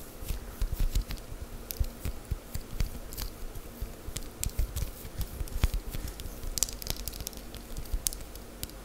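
A palm-sized sheet of soft, solid, pliable cream-coloured wax paste is held in the air and stretched, squished and tapped with long matte green acrylic nails. The result is a steady stream of quick, dry ticks and soft squishy crackles over a low, muffled body, with sharp bright clicks scattered throughout.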